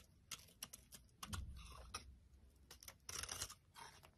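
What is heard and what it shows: An orange soap bar held in the hand is scraped and carved with a utility blade. Short, crisp cutting and scraping strokes come in quick bursts with bright, dry texture and a soft low thud underneath. Each stroke ends almost at once, with no ring.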